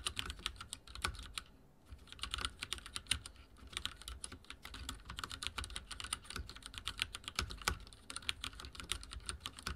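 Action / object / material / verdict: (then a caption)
tap / mechanical keyboard with plastic keycaps / plastic / none. Fingertips type rapidly on a backlit mechanical keyboard with dark plastic keycaps and a silver frame. The result is a steady stream of sharp, bright, short clacks with a soft low thump under each keystroke, broken only by a brief pause near the start.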